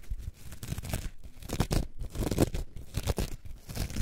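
A coarse orange foam sponge, held in both hands, is scratched and squeezed with long nails. The result is a series of irregular, rough, tearing-like scratching bursts that are heavy in the low end, with brief crinkly bright edges between short pauses.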